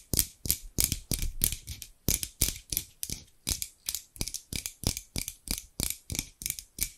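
Large steel scissors, held in both hands with long pink nails, are repeatedly opened and shut so the metal blades rub together. The result is a steady run of short, dry metallic snips, about three per second, each with a bright scraping edge and a soft low thump that dies away almost at once.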